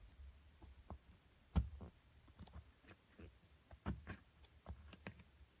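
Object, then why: Plaster block scraped with a wooden stick. A wooden stick scratches and digs into the white plaster of a solid purple-coated plaster excavation block, held down by a hand with long nails. Quiet, irregular scraping and short dull clicks sound, with two sharper, louder knocks standing out. The sound is mostly low and thuddy, with brief bright ticks.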